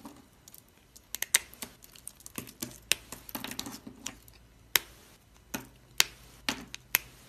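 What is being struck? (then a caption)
Small pieces of bar soap. Fingertips and thumbs snap and break small cream-white chunks of dry, solid soap among soap shavings. Crisp, bright cracking clicks come in an irregular series, each dying away almost at once, with softer crumbly crunching between the sharper snaps.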